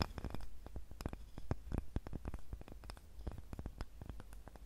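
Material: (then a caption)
Wood. A small, light, solid wooden cutting board with a handle is scratched and tapped with long nails. The result is a quiet, rapid run of short, dry clicks and taps over a soft scratching texture, with very little ring after each hit.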